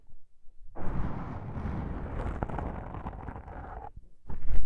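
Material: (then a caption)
Foam. A thumb presses on two small black foam windscreen covers fitted on a binaural microphone, making soft, muffled low thumps. Long nails then scratch the foam in a dense, rustling, bass-heavy wash that runs steadily for about three seconds. After a brief pause, a louder burst of rough scratching closes the clip.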